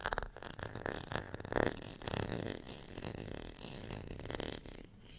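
Long fingernails scratch the bumpy face and ridged edge of a small, solid, beige ridged plastic rice paddle. The result is a run of dry, rasping scrapes in uneven bursts, with a mid-range buzz and little ring after each stroke.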